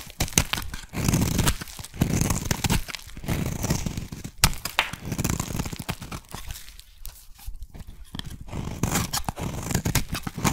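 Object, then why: Soap bar scraped with a metal blade. A metal blade scrapes and cuts a solid pink embossed soap bar into thin shavings. The sound is a run of dry, rasping scrapes with crisp, tearing crackles, weighted toward a low, dull body. Quick strokes overlap with a few brief pauses between them.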